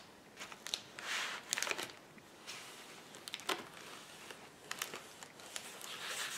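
Fingers pinch and pop the air bubbles on a flat sheet of clear plastic bubble wrap lying on a table. Sharp, bright snaps ring out irregularly between soft, hissy plastic crinkling. Each pop dies away almost instantly, with almost no low end.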